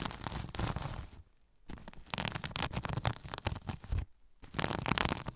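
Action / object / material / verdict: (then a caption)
scrape / sequin-covered fabric pouch / plastic sequins / none. Fingernails scratch across the sequins of a soft sequin-covered zipper pouch held over a recorder. The result is dense, crackly rustling with a low rumble and bright clicking grit, arriving in bursts. The scratching pauses briefly twice before resuming.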